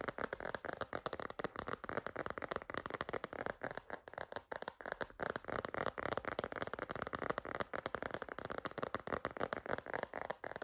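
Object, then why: Silicone phone case. Long green nails rapidly tap and scratch a white floral silicone phone case with a wavy edge, held upright. The result is a quiet, continuous stream of dry, clicky taps with a soft scratchy texture, centered in the midrange with no ringing.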